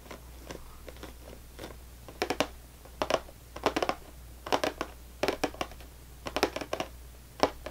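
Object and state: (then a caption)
Cardboard cracker box. Fingernails of both hands tap fast on the top of a full, closed cardboard saltine cracker box. The taps come in quick clusters of dry, crisp clicks with a hollow, papery mid-range body and bright edges, each dying away almost instantly. A faint, steady low hum sits underneath.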